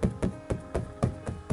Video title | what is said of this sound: 트리빌리지 청사과 과일액자 풍수 돈들어오는 그림 언박싱 | 두께감이 있기 때문에 퉁퉁퉁퉁 소리가 나죠.